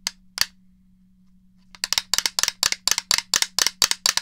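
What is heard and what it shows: Long fingernails tap and click on the shell and buttons of a grey, hollow plastic Nintendo 64 game controller held in one hand near the mic. Two sharp, bright clicks are followed by a pause, then a quick run of about thirteen more crisp, dry taps with almost no ring, for about fifteen in all, over a faint low hum.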